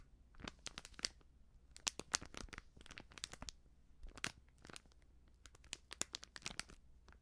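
A small, filled, sealed plastic-foil baking soda sachet with a crimped foil edge is crinkled and scratched with long nails. Quick, bright crackling crinkles and scratchy rustles come in uneven bursts over a faint steady low hum, with each crackle cutting off sharply.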